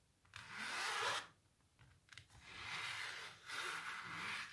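Long natural nails scratch and rub across the textured paint of a canvas painting of a cellist under blue light. Bright, breathy scraping strokes come in long sweeps, with a few faint taps and pauses between them.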